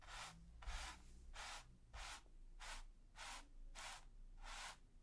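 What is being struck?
Bristle brush on primed canvas.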